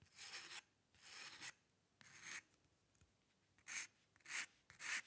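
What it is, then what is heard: Metal pen nib scratching paper. A dip pen's metal nib scratches strokes into the lower area of a flat white sheet of drawing paper while drawing hair. Six separate dry, bright, raspy scrapes are heard, each about half a second long with short pauses between, and the last three are a little louder and sharper.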